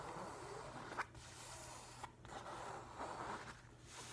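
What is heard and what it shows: An open hand and fingertips rub and scratch the paper surface of a large, flat hardcover book with a printed nautilus cover. The result is a soft, continuous scraping hiss over a steady low hum. There is a brief sharper scratch near the start and another at about two seconds.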